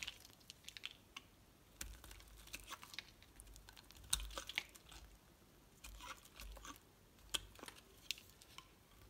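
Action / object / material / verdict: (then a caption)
scrape / bar of soap cut with a knife blade / soap / none. A utility knife blade shaves and carves a solid light green Palmolive bar soap, giving quiet, bright crisp scraping and crunching cuts in irregular bursts with a faint low rumble underneath.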